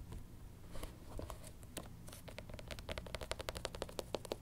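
A black canvas platform sneaker with a thick white rubber sole is held in the hands and tapped and scratched with long pink nails along the sole edge and the canvas upper. Soft, dry scratching and scattered taps build into a quicker run of short, crisp clicks with a faint mid-pitched knock. A low background rumble runs underneath.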